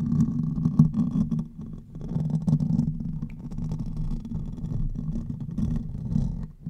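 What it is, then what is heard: Metal mesh microphone grille being scratched. Fingertips and nails of one hand scratch the top of the hollow metal mesh head of a silver condenser microphone. The result is a dense, continuous, muffled rumbling scrape, heavy in the low end around a 156 Hz hum, with brief brighter crackles. The scratching briefly softens near the two-second mark and fades at the end.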